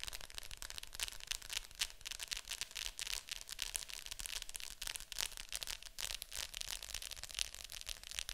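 Long nails tap and scratch the top of a hollow plastic Fantasia VHS clamshell case lying flat. Dense, irregular bright clicks and scratchy rasps run continuously, each dying away almost instantly with little low end.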